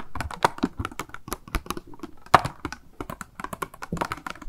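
Long nails tap rapidly on a small, hollow, clear pink plastic cube package held in the hand, with a pink makeup sponge inside and a card hang tab. About two dozen quick, irregular taps are heard, with dry, clicky plastic hits that stop short with no ring. One tap near the middle stands out louder and sharper.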